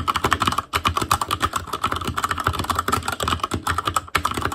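Fingertips of both hands type rapidly on a full-size ASUS ROG Claymore Core keyboard with plastic keycaps on Cherry MX Red switches, a metal plate, a hollow case and RGB backlight. Its dense stream of short, dry clacks has a clicky tone around 1.1 kHz and a low thock from the case. The typing pauses briefly near 0.7 and 4.1 seconds.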